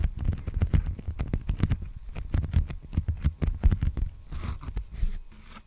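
Fingertips tap and scratch an empty, large black poly bubble mailer envelope held upright near the microphone. A rapid, uneven series of soft, dull, low thumps with brief crackly edges gives way to quieter scratchy rustling toward the end.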